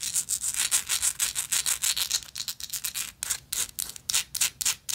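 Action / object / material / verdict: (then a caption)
scrape / metal lighter with engraved texture / metal / none. Long nails scratch quickly back and forth across the engraved texture of a gold metal lighter, making a dense run of bright, hissing rasps. The strokes come rapidly at an uneven pace, each a short scrape with almost no low end.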